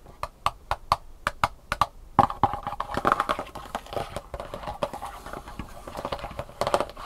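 Long painted fingernails tap fast on the raised round compartments of an empty, thin, black molded plastic sushi tray held upright. Crisp, hollow clicks with a mid-range tone and almost no ring come as spaced taps for the first two seconds, then break into a dense, rapid flurry for the rest of the clip.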